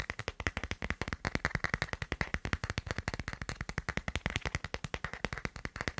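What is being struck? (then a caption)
Smartphone in plastic phone case. A smartphone in a black plastic case with a white doodle print is held near the mic while fingertips and nails tap fast on the case back, ending with the phone held flat and tapped. About 48 quick, dry taps follow in a steady stream over six seconds. Each tap has a low thump and a bright plastic click that stops almost at once.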